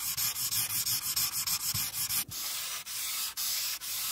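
A pink marker tip is rubbed along the border of a flat paper coloring sheet on a clipboard to color it in. The result is a bright, dry, scratchy rubbing: a quick run of short back-and-forth strokes, then a few longer, steadier sweeps.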